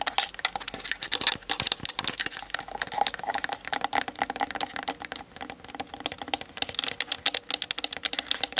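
Long nails rapidly tap the sides and grip of a hollow plastic Canon DSLR camera body on a tripod, seen in a mirror, recorded through the camera's built-in mic. The result is a dense, fast patter of dry, bright clicks with almost no low end and no ring after each tap.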